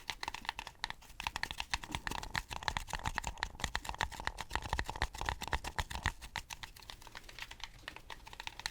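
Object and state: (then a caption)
Styrofoam cup. Fingertips tap rapidly and continuously on a styrofoam cup for about nine seconds, with some taps made over the microphone. The taps are short and dry, with a hollow tone around 880 Hz above a soft low thump, sounding much like fast typing on a keyboard.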